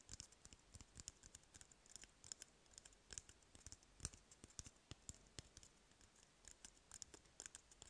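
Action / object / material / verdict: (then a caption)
tap / cardboard toilet paper roll / cardboard / none. An empty, hollow cardboard toilet paper roll is held in the hand while fingertips tap and nails scratch its surface. Dozens of quiet, dry, clicky taps fall in an irregular patter, each with a bright, crisp edge and a faint low thump, stopping instantly with no ring.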